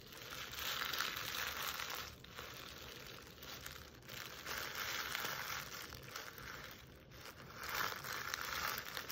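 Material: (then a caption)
Jute burlap. Long nails scratch and rub the woven jute surface of a burlap Christmas stocking near its plaid trim, held up close. The result is a dry, bright, crinkly rustling that swells and dips in broad waves, with a steady hiss across the upper range and little low end.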